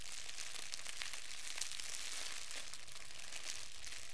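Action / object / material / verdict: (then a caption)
scrape / wad of thin clear plastic film / plastic film / none. A fist-sized, hollow, loosely crumpled wad of thin clear plastic wrap is held in both hands and crumpled and squeezed with the fingertips. It makes a steady, dense crinkling with bright, high crackles and no pauses or distinct separate hits.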